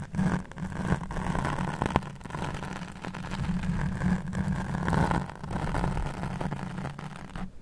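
A black foam microphone windscreen is rubbed and scratched with the fingertips and nails of one hand. The result is a dense, continuous, muffled rumbling scrape concentrated in the low end, swelling and fading in waves, with a brief sharp crackle near the two-second mark.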